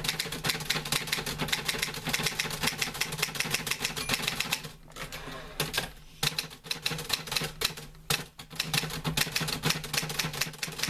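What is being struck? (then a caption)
Metal manual typewriter. Fingertips type on the keys of a green-grey metal portable manual typewriter with paper loaded. Rapid, crisp, bright clacks come in steady bursts over a faint low hum. Typing eases into quieter pauses around the middle before picking back up to the end.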